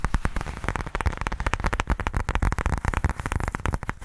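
Fingertips scratch and tap rapidly on the face of a black pebbled faux leather case held upright. The result is a dense run of short, dull, low thumps with a soft scratching texture between them and almost no ring after each tap.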